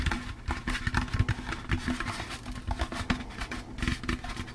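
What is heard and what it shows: A hollow, empty orange plastic jack-o'-lantern candy bucket is tapped rapidly with fingertips and nails. The result is a quick, uneven patter of dull, hollow thuds with a low body and short, light clicks that die away almost instantly.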